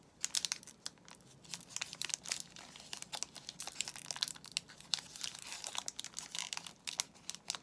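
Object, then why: Soap bar in plastic film wrapper. A soap bar in a glossy white plastic film wrapper is handled and squeezed by fingertips, making the wrapper crinkle. Dense, bright, crackling clicks and rustles come in quick irregular bursts throughout, with almost no low-end body.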